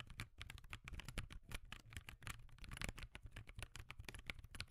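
Both hands type with their fingertips on a backlit laptop keyboard with plastic keys, producing a quick, quiet stream of short clicky taps. The taps are dry and bright over a low rumble, with no ring after each keystroke.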